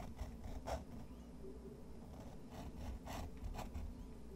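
A fountain pen's metal nib scratches lines across a thick, textured white watercolor paper sheet resting on a wooden desk while drawing. Soft, dry scratching strokes come in irregular short bursts over a steady low hum.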